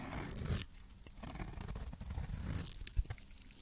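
A metal blade scrapes and cuts a cream solid soap bar with remains of blue coating into powdery shavings. There is a dry, gritty tearing and crunching, loudest in a bright, rasping burst near the start, followed by softer scraping and a sharp click near the end.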